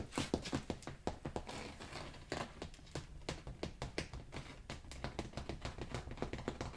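Fingertips tap quickly on the pile of a rolled beige carpet, then scratch the woven backing on its underside. The result is a rapid run of soft, dull, muffled taps with very short decay and a low-heavy body, mixed with brief bright scratchy rasps.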